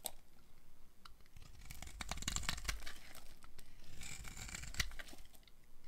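A metal blade scrapes and carves chunks off the surface of a blue-and-white striped solid dry soap bar held in hand. Dense, dry crunching and crisp scraping crackles with bright, hissy edges over a low rumble, swelling in busy bursts around the middle and later in the clip.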